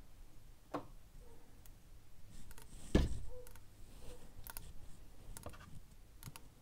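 Long nails tap and scratch the hard calcareous surface of a large, empty, hollow conch-type seashell with red and white stripes, held in one hand. Quiet, dull clicks and brief scratchy strokes come and go, with one louder tap near the middle. The taps are mostly low and muffled, with short bright ticks.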